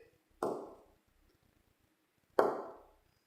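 A braced spruce guitar soundboard is tapped twice to bring out its tap tone, which guides how much the braces are shaved down. Each tap gives a dull, woody knock centered around 400 Hz that fades out within about half a second.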